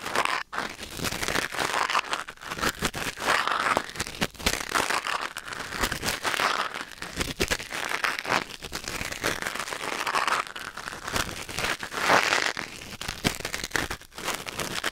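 A thin wooden or bamboo ear pick scratches and scrapes inside the canal of a white silicone ear mounted on a black binaural microphone. The result is a dense run of close, crackly rustling and crinkling scrapes with short, dry clicks, bright and mid-heavy with very little low end.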